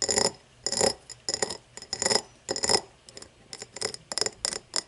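An empty cut-crystal glass tumbler lying on its side is tapped and scratched along its cut pattern with long fingernails. Bursts of bright, high clicking and scraping come in an irregular rhythm with short gaps between them. Each tap has a crisp glassy chink that dies away almost at once.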